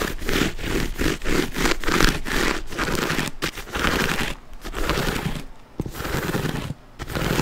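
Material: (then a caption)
Leather. Fingernails scratch across the quilted surface of a black quilted leather handbag in a series of rough, rasping strokes. The scraping is dense and uneven in rhythm, with a low rumbling body beneath the bright scratchy texture. It is broken by a few short pauses before the strokes resume.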